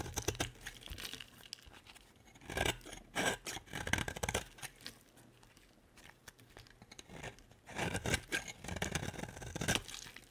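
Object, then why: Solid bar of soap. A solid black and white striped bar of soap with a red coating is held in the hand and shaved with a utility-knife blade. Bursts of crisp, dry scraping and crackly shaving strokes come in clusters with quiet pauses between them, with bright, rasping detail.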